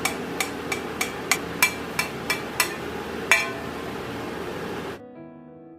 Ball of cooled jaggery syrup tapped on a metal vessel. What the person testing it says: పాకం గట్టిపడితేనే సౌండ్ అలా వస్తుంది. మెత్తగా ఉంటే గనక అలా రాదు.